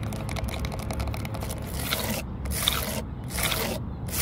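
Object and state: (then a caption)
Fingernails scratching weathered wood. Long nails on both hands scratch across the grain of a flat, solid, grey weathered wooden stump top with horizontal cracks. The result is a steady, dry scraping over a low rumble, with quick rasping strokes at first, then longer bright scratch bursts separated by brief pauses where the high hiss drops away.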